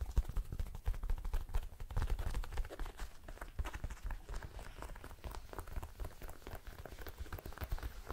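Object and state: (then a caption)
Leather jacket being scratched. Long nails and fingertips scratch and rub a soft, flexible blue smooth leather jacket held up in both hands. The result is a steady stream of quick, dull scratching and tapping sounds, muffled and low-heavy, with no ringing.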